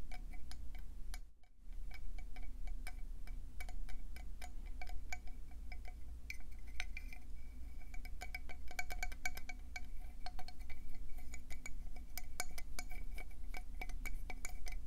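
Long painted nails tap rapidly on the surface of a hand-sized, hollow, speckled conch shell held in both hands. Dense, quick clicky taps ring briefly over a steady low hum, with a short pause near the start.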